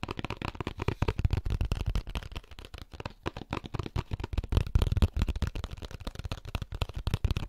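An empty molded paper pulp egg carton is held in both hands while fingertips and nails tap and scratch its lid and label. The result is a fast, dense run of soft, dull taps and papery scratches, mostly low and thuddy with very little brightness. Each tick stops at once with no ring.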